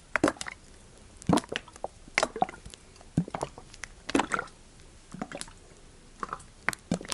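A large, hollow, clear PET plastic sunflower oil bottle with a green label, partly filled with yellow sunflower oil, is held in the hand and shaken or tilted so the oil sloshes inside. Several short, squishy, wet bursts of sloshing are heard, each with sharp, crackly plastic clicks reaching into the bright range, separated by near-silent pauses.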